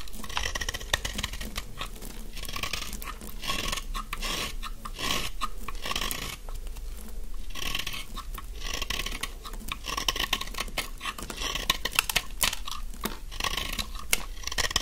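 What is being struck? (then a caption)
Bar of soap scraped with a knife blade. A thin carved stick of dry, solid yellow bar soap, held in the hand, is scraped with a utility knife blade. The result is a steady stream of dense, crisp scraping and crackling with bright, high-pitched edges and many short, rapid strokes, over a low background hum.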